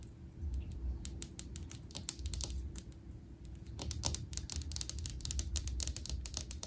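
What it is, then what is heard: Glass aquarium fish tank. Long acrylic nails tap quickly on the front glass pane of a small fish tank filled with water, plants and a betta fish. The result is a run of sharp, bright clicks that stop almost instantly, speeding up into a dense flurry in the second half over a steady low hum.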